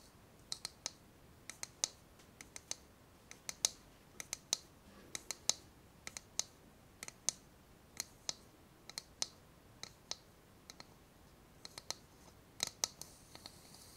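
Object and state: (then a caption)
Ceramic bowl. A small, empty ceramic bowl held on its side is tapped on its outer base with fingertips and long nails, giving about 38 sharp, bright clicks in an irregular rhythm. Each tap is dry and dies away almost instantly, with little low end and a quiet hiss between hits.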